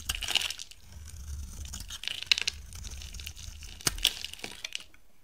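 A dry, bright yellow oval bar of solid soap is held in the hand while thin slices are shaved off it with a metal box-cutter blade. The sound is a bright, crisp scraping and crackling, with short bursts and sharp snaps as each slice comes away.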